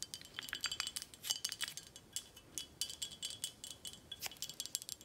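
Long acrylic nails tap a full, tall red glass Corralejo tequila bottle with a paper label, held in hand, striking both the glass and the label. A steady run of quick, light, bright clicks fills the clip, with faint glassy ringing tones near 3 kHz that die away almost at once.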